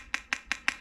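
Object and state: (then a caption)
Thick polycarbonate light lens. Four sharp, bright taps on the thick polycarbonate lens of a Lasfit LED pod ditch light for a 2021 Toyota 4Runner, a lens about four times thicker than the thin Auxbeam pod lens. Each tap is a crisp, high click with almost no ring, sounding almost like glass. It is the sound of a thicker, higher-quality polycarbonate lens.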